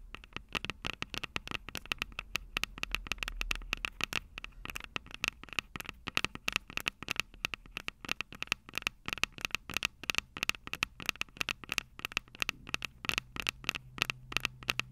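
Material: Metal, plastic.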